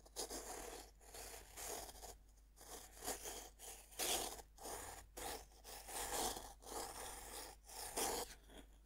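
A serrated metal knife saws and scrapes across the surface of a fist-sized, solid pink pressed-powder bath bomb held on a wooden board. About ten rhythmic, gritty scraping strokes rise and fall, each a bright, rasping burst with short pauses between.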